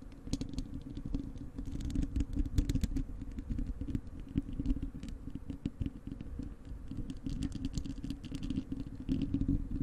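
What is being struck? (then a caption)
Wire-mesh metal microphone grille. Long acrylic nails on both hands scratch the bare, hollow wire-mesh metal grille of a large desktop microphone. The result is a continuous, dense scratching with a heavy low rumble and a steady hum underneath, peppered with rapid bright ticks and clicks throughout.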